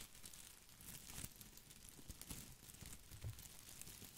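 A head-sized artificial boxwood ball with plastic leaves is held in both hands against the microphone while fingertips rub and scratch the leaves. The result is a steady, close crinkling and rustling with bright scratchy edges and soft low thumps from handling.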